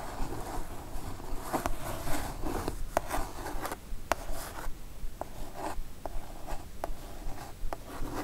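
Long nails scratch the surface of a kraft cardboard mailer box, making dry, rasping strokes. Sharp clicks break through the scratching at uneven intervals, with brighter swishes in between.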